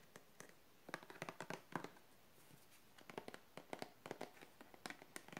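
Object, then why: Small plastic bottle partly filled with liquid. A small clear blue plastic bottle with a blue flip cap and a wrapped label, partly full of blue liquid, is held in both hands and rubbed, squeezed and tapped with fingertips and long painted nails. Quiet, dry clicks and taps come in quick uneven clusters over soft crinkly rubbing, with a brief lull in the middle. Each tap dies away almost instantly.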